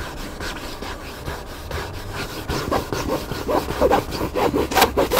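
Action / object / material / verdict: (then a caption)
scrape / hardcover book cover / bookboard / none. Fingernails and fingertips scratch the cover of a hardcover book lying flat, making dry, rasping strokes in a loose rhythm. The scratches start soft and grow louder and more distinct in the second half, with about nine separate strokes. Each one is a brief mid-range scrape with a bright, hissy edge and almost no ring.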